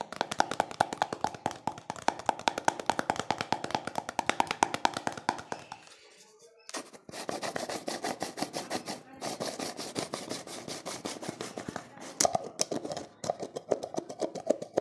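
A small, hollow pink plastic cosmetic jar is tapped and rubbed with fingertips and nails in a fast, steady stream of sharp, hollow clicks with a bright tone around 890 Hz. The tapping drops to a near silence for about a second just after the six-second mark, then resumes just as quickly with scratchy rubbing mixed in until the end.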